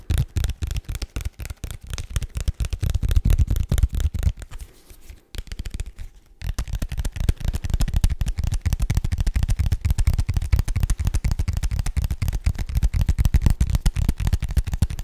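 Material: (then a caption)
Paperboard. A small, hollow, rigid white paperboard box is tapped rapidly with fingertips and nails. The result is a dense run of short, dry, low thuds with brief bright clicks. A short lull comes around the fifth and sixth second before the fast tapping resumes.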